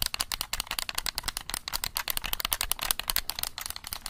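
A black plastic game controller is held close to the mic while fingertips click its buttons quickly. The result is a rapid, continuous stream of short, dry, bright plastic clicks with almost no ring and little low end.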